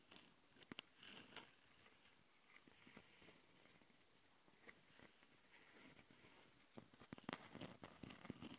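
Long nails of both hands scratch and tap the capsule housings of a handheld plastic Tascam audio recorder. Close, dry scraping rustles are broken by sharp clicky taps that cluster more densely toward the end, with bright, quickly decaying transients.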